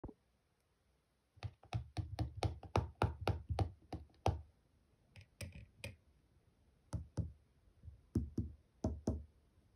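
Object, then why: Plastic slime container. Fingertips and nails, on fingers wearing rings, tap and scratch the lid of a small, closed, full, rectangular clear plastic slime tub with a printed 'Cheese Slime' label on the lid. Quick runs of dull, low, thumpy taps each carry a short bright click and die away almost at once, with brief pauses between the bursts.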